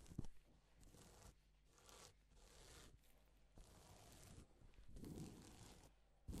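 A gloved hand sweeps across a flat, reversible pink and silver plastic sequin fabric sheet, flipping the sequins. The result is quiet, soft, scratchy rustling swipes that rise and fall, with a low background rumble underneath and a sharper tick at the very end.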